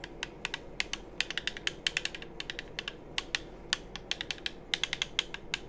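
Fingertips tap the shell of a hollow black plastic game controller held close to the microphone and click its buttons. Dozens of short, sharp, bright clicks and taps come in an uneven stream, each dying away almost instantly over a soft, steady low background hiss.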